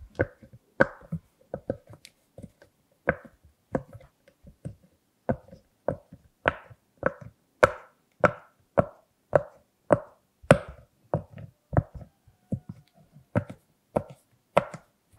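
Fingertips press and pop the hollow push bubbles of a large, flat rainbow silicone pop-it purse shaped like a Hello Kitty head with a bow, held in both hands on a table. About 24 short, dull pops come at an uneven pace, each with a hollow mid-pitched tone around 570 Hz and almost no ring.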